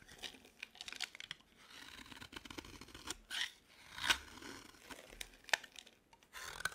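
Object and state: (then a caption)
Dry bar of soap being carved. A utility knife blade carves and scrapes a dry, green solid bar of soap as the shavings fall away. Crisp, bright scraping and crunchy cutting strokes come at an irregular pace, with a few sharper snaps standing out. The strokes are dry and quiet overall, with almost no low end and no ring after each cut.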